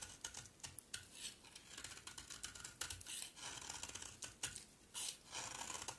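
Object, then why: Bar of soap scraped with a knife blade. A solid, dry green bar of soap is scraped and carved with a utility knife blade, and the flakes fall onto a pile below. The clip is a quiet run of crisp, bright scraping and crackling cuts with brief rustling swells. There is very little low end, and each cut dies away quickly.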